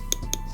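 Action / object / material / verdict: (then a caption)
tap / acrylic nail tapped with brush handle / acrylic / dry. Three quick, dry clicks as a brush handle taps on acrylic nails to check whether they have set. The taps are short and bright with almost no ring, over a low steady hum. This is the sound of acrylic that is dry and ready for filing.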